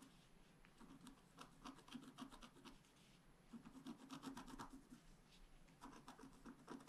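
A wooden stylus scratches away the black coating of a flat scratch art paper sheet while the other hand steadies the sheet. Quiet, dry scraping strokes come in rapid bursts with a low-mid rasp and short bright streaks, pausing briefly around three seconds before resuming.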